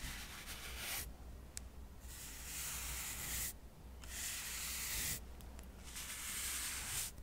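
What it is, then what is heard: Cork coaster stack brushed. A soft paintbrush is brushed across the edges and face of a small, solid stack of square cork coasters. It makes a bright, airy hiss in repeated sweeping passes with short quieter gaps between them. A steady low hum runs underneath.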